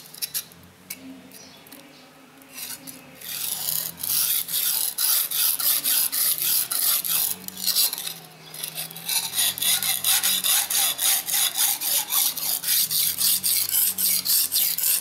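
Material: Stone.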